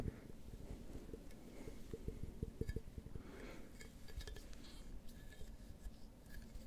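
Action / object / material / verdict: tap / large glass beer mug / glass / none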